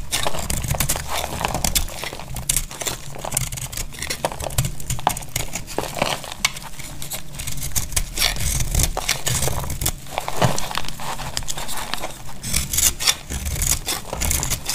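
A dry coral-red bar of soap is shaved down with a utility knife blade, and the flakes crunch off onto a pile. Dense, crinkly scraping and crackling runs steadily throughout, with bright crisp clicks over a low, muffled body and no ringing after each stroke.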